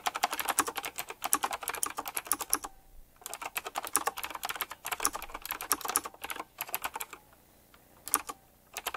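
Fingertips type fast on a retro typewriter-style mechanical keyboard with round plastic keycaps and chrome metal rims, producing bursts of sharp, bright clacks. The bursts break off into short quiet pauses near 3 seconds and again around 7 to 8 seconds.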